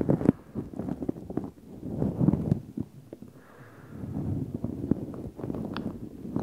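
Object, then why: Synthetic fur microphone windscreen. Fingertips pinch, stroke and rub a black synthetic fur microphone windscreen, producing dense, muffled rustling and scratchy crackles concentrated in the low-mids. The brushing comes in uneven bursts with short sharp clicks, and there is a brief quieter lull near the middle before the rubbing picks up again.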